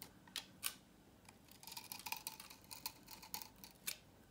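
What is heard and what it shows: A utility knife blade cuts repeated grooves along the edge of a dry, solid salmon-orange vintage soap bar held in the hand, sending crisp flakes falling. The result is a series of short, dry, bright crunching snips with almost no low end, a few isolated cuts at first, then a denser run of scraping crunches, ending with scattered single cuts.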